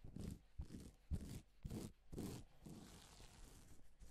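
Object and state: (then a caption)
Plastic sequin fabric. A gloved hand sweeps across a flat, reversible pink and silver plastic sequin fabric sheet, flipping the sequins. The result is a series of soft, rustling, scraping swishes that are mostly low and muffled, each fading quickly.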